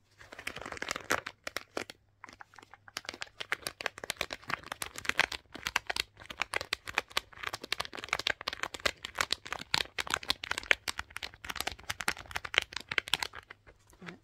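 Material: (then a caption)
Fabric. A black fabric boot covered in rhinestone studs, soft and hollow, is held open in both hands while long pink nails scratch and rub over the studded fabric. The result is a dense run of quick, dry scratching and crinkly clicks, bright and close, with brief pauses between bursts.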